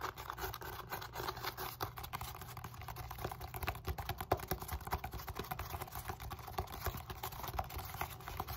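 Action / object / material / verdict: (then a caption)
scrape / foam roller end face, molded polyethylene foam / polyethylene foam / none. Long nails tap and scratch quickly across the flat, round end face of a solid black textured foam roller made of molded polyethylene foam, held close. The result is a dense, continuous run of dry, soft scratches and short muffled taps with a low, thumpy body and no ring.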